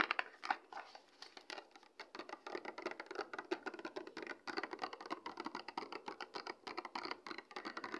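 Long red acrylic nails tap and scratch quickly on a small, flat, hollow printed cardboard product box (an Eshabeauty Base Kit) with its contents not visible. The result is a dense run of dry, crisp clicks and scratchy rasps that stop almost instantly, with no low-end body and a steady patter throughout.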